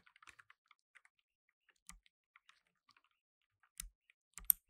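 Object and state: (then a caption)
Plastic mechanical keyboard. Fingertips in blue nitrile gloves type on a black tenkeyless mechanical keyboard with plastic keycaps. Quiet, quick, bright key clicks are heard throughout, with a few heavier thocks carrying low thumps, and the loudest comes near the end.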